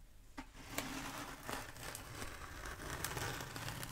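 Long nails on both hands tap and scratch a long black bead foam roller held upright. Sharp, bright clicks break through a steady, dry crinkling scratch with a low rumble underneath. The taps come in an uneven series over the continuous rasp.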